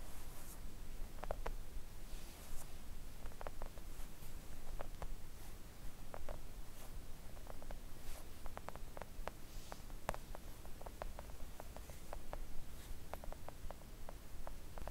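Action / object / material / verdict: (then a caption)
tap / silicone mat tapped with fingernails / silicone / none. Long coffin-shaped press-on nails tap gently on a flat, thin, solid pink silicone nail art mat lying on a table. The taps are soft, quick and dull, some in fast runs and others spaced apart, with faint bright ticks and almost no ring. A steady low rumble sits underneath throughout.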